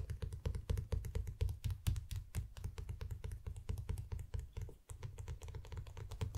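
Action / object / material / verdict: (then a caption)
tap / paperback book with glossy paper cover / paper / none. Fingertips of both hands tap rapidly and repeatedly on the glossy paper dust jacket of a small, solid paperback manga book, Koe no Katachi volume 5, lying flat on a play mat. The taps come as a quick, irregular stream of soft, dull, low thumps that die away almost at once, with little high-end sound.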